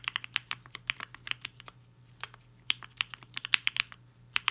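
Fingertips of both hands type on a black-cased 75% mechanical keyboard with a hollow case and white and pink plastic keycaps, resting on a desk mat. Quick, bright clacks with very short decay come in irregular bursts over a faint steady low hum.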